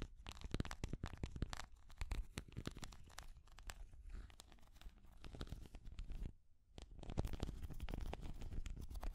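Long grey nails scratch and tap a small hand-held orange and green translucent plastic cat figure with a textured surface. A dense run of rapid, short clicks and scratches carries a heavy low thud, dips into a brief pause near 6.5 seconds, then resumes at a slightly stronger level.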